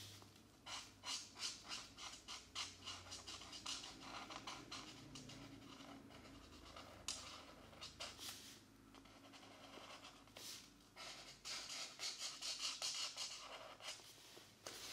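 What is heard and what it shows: A felt marker tip is scratched back and forth over a page of an open softcover mandala coloring book of thin paper, which lies flat on a desk mat while the other hand holds the book. Quick, bright, papery scratching strokes come in rapid bursts, easing into a steadier, softer rub in the middle before the brisk strokes return.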